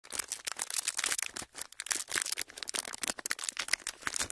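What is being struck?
Clear ridged plastic packaging sheet.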